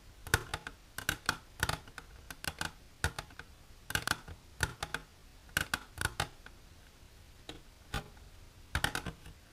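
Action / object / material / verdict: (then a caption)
tap / hard plastic container tapped with fingernails / hard plastic / none. Long, silver-polished natural nails tap the walls of an empty, hollow, transparent hard plastic tray-like container held upright. The result is quick, dry, bright clicks in irregular bursts and clusters, each dying away almost instantly over a quiet background.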